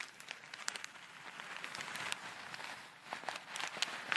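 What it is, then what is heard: Plastic bag of foam beads. A small clear plastic bag full of tiny colourful foam beads is held close to the microphone and squeezed, crinkled and shaken with long red nails. A soft, steady crinkling rustle carries bright, crisp ticks and pops of the beads and plastic throughout, with almost no low end.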